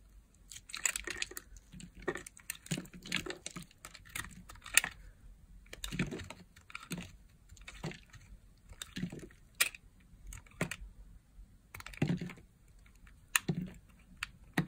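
A solid green dry soap bar with a pre-cut grid pattern, held in a hand with long nails, is carved with a metal blade so flakes and cubes break off. Many short, dry, crisp scraping and cutting snaps follow in irregular bursts, bright and crackly, with each one stopping almost instantly.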